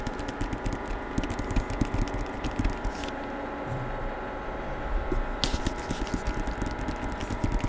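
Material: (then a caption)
Cardboard and paper. Fingertips tap and rub the back cover of a hardcover novel with a paper dust jacket, held close to the microphone. Quick, dry, low-pitched taps come in bursts, with a quieter stretch of soft rubbing in the middle before the tapping picks up again.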